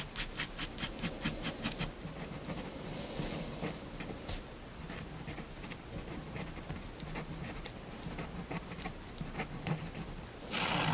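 A fineliner pen held in the hand scratches short ink lines across a white paper sheet laid flat on a wooden table. A quick run of evenly spaced scratchy strokes opens the clip, followed by a softer, irregular patter of lighter strokes over a steady low hum. It ends in a sudden loud, bright rush of noise.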